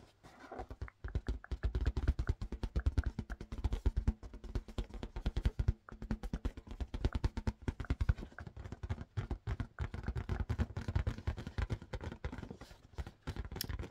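Fingertips tap fast but gently on a blue marble-pattern latex balloon that was inflated with a balloon pump. The result is a continuous stream of soft, low, hollow thumps with almost no ring, and no pauses long enough to separate into individual hits.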